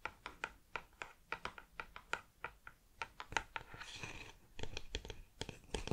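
Long nails tap and scratch the lid end of a cardboard crisp tube held horizontally. A quick, uneven series of dry, clicky taps with a hollow mid-range tone gives way to a brief bright, rasping scratch, then more rapid taps.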